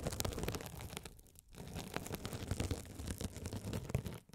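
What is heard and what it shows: A hand-sized blue scouring sponge with a sparkly woven glitter mesh cover, soft and solid, is held over the microphones and scratched by a rolling gold metal spiked roller. Dense, crunchy scratching and rustling with a heavy low rumble runs throughout, with brief quieter dips around one and a half seconds and at the very end.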